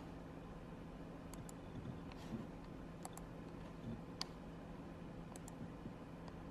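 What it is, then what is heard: Plastic computer mouse clicks. A fingertip clicks the buttons of a small, black, wired, hollow plastic computer mouse resting on a fabric mouse pad. Faint, sharp, bright clicks are scattered over a quiet, steady low hum.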